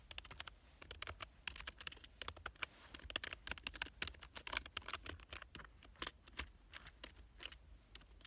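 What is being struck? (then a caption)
Plastic computer keyboard. Fingertips type fast on the keys of a black plastic full-size computer keyboard lying on a couch. The result is a dense, uneven stream of short, bright plastic clicks and taps with almost no ring, over a faint low rumble.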